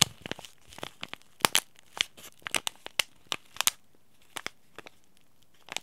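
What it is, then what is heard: Paper-foil tea bag sachet. A small white Yogi Tea sachet made of paper-foil laminate and holding a tea bag is crinkled and squeezed by fingers and short nails. Sharp, dry crackles and crinkles come in irregular bursts, bright and high with little low end, each snapping off almost instantly with quiet gaps between.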